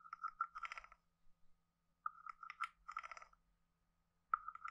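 A stick taps the head of a hand-sized, hollow carved wooden frog guiro and scrapes along its ridged back. Short, hollow wooden knocks with a pitched tone near 1.3 kHz alternate with quick, ratcheting croak-like scrapes. The sounds come in three quiet bursts separated by brief pauses.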